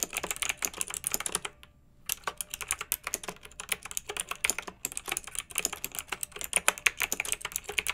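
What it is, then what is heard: Plastic mechanical keyboard being typed on. Both hands with long nails type rapidly on a pink plastic retro mechanical keyboard with round, backlit keycaps and a hollow case. The key presses make a dense stream of short, bright, clacky clicks with almost no low end, broken by a brief pause near the two-second mark before the typing resumes.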